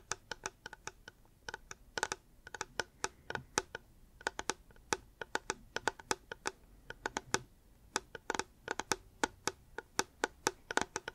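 Fingers tap on a reusable hard plastic water bottle in quick, uneven bursts, making many sharp, dry clicks that die away almost instantly. Each tap is bright and hollow with little low end, set against a quiet background.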